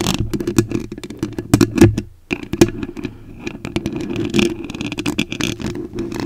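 Very long acrylic nails tap and scratch the top and front of the white metal mesh grille on a large condenser microphone with a hollow head. A rapid, dense stream of short taps and scratchy clicks is heard, with a warm low-mid ring and a brief near-silent pause around two seconds before the scratching resumes.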